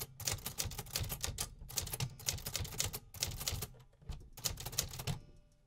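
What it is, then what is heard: Metal typewriter keys. Fingertips tap repeatedly on the metal keys of a vintage 1950s manual typewriter. Quick, sharp mechanical clacks with bright top end and a low thump come in bursts separated by brief pauses. Each strike dies away almost instantly.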